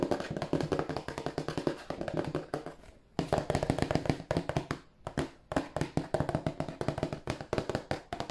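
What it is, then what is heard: Cardboard tissue box tapped and scratched. Fingernails tap and scratch the sides and bottom of a hollow, glossy printed cardboard tissue box. Rapid, dense runs of short, dry, hollow taps carry a low, boxy resonance, mixed with scratching and broken by brief pauses near 3 and 5 seconds.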